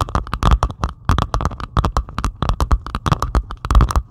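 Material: Plastic resin.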